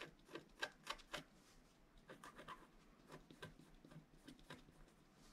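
A wooden stylus scratches short strokes into the upper right area of a flat scratch art card, a black-coated paper board. Quick, dry, raspy scrapes come in an uneven series, louder at first and then softer, with a bright, papery texture and no ring after each stroke.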